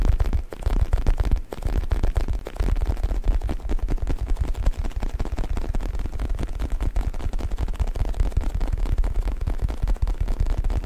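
Fingertips scratch, rub and squeeze the surface of a soft, stuffed black faux leather U-shaped neck pillow held in both hands behind the mic. The result is a dense, continuous stream of deep, muffled crackling and thumping rumble, with almost all of the sound sitting in the low range. There are brief dips in loudness near the start.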